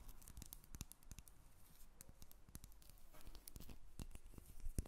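Long red nails scratch and tap the surface of a solid rectangular bar of jasmine soap held in the hands. Quiet, dry, rapid taps with very short decay mix with crackly, scratchy scraping, giving soft low thumps and bright clicks.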